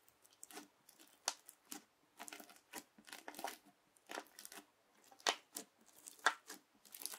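A yellow plastic knife is pressed and dragged across a flat teal crunchy bead slime with clear beads. It makes irregular, short bursts of bright crunching and crackling, about once a second, with a few sharper pops and almost no low end.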